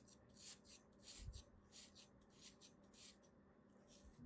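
A small black knife shaves and scrapes the edge of a solid beige kinetic sand crab shape held in the palm. The result is a quiet series of soft, gritty scraping strokes with bright, hissy grain over a faint low hum.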